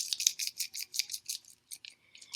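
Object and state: Dry snow globe jar with loose filling, shaken.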